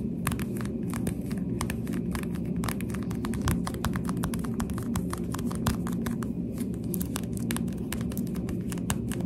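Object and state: Plastic sunglasses.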